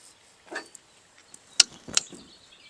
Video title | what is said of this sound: Chinese Holley carburetor will it work? Will it fit? On my F600 hundred truck. | That one sounds like metal.